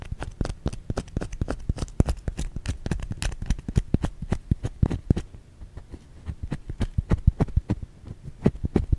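Long fingernails scratch a white solid bar of soap held in the hand. Dense, rapid dry scratching clicks arrive with very short ring, heavy in the low end, and thin out briefly before picking up again.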